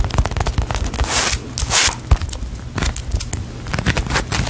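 Long nails squeeze and tap a small, solid polyurethane foam cake-slice squishy toy decorated with sprinkles, held close to the mic. The result is a quick run of sharp, crackly clicks and sticky scraping, with a dull low thump under each touch. Two longer bright, hissy rustles stand out partway through.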